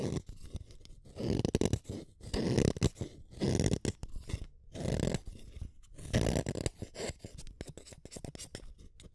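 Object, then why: Wooden colored pencil. A solid blue wooden colored pencil is shaved with a small metal blade, chipping off bits of its blue core. Rough, low, grainy scraping strokes come in uneven bursts, separated by brief quiet gaps and light scratchy ticks.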